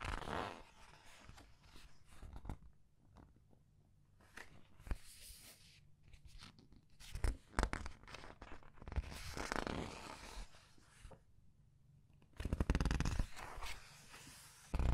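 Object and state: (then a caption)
Paper book pages. Long red nails pinch, squeeze and flip the glossy collage pages of a large open paperback art book. Soft papery rustles and crinkles come in bursts, with several louder, brighter page flips and crackles over a low, dull rumble.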